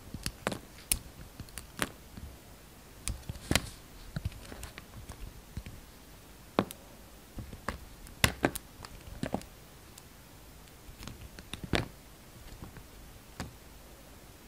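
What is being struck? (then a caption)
Glycerin soap bar cut with a knife blade. A hand-sized, solid red translucent glycerin soap bar is held in the hand and sliced into thin curls with a yellow utility knife blade. About two dozen short, crisp cutting snicks and scraping strokes, some bright and some dull and low, are spread across a quiet background, each dying away almost at once.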